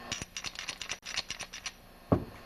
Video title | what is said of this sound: Defective Pressure Washer Pump Diagnosis | if I shake it you can hear noise inside